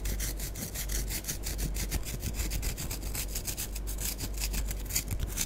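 Long nails scratch across the surface of a small, solid orange pressed-powder bath bomb held in the hands. Rapid, repeated dry scratching strokes produce a bright, gritty rasp over a steady low hum, continuing evenly throughout.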